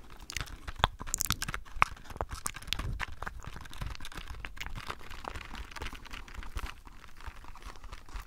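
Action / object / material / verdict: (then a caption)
tap / clear plastic blister pack with cardboard backing / plastic / none. Long nails tap and scratch a small packaged item, a hollow clear plastic blister on a cardboard card, held close to the microphone. Dense, crisp crinkling clicks and scraping run throughout, with a few sharper, brighter taps standing out early on.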